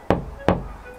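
Two knocks on the steel roof panel of a kei van fitted with a deadening sheet give dull, low thuds that die away almost at once. The panel does not resonate: the deadening has silenced the loud ringing it makes without the sheet.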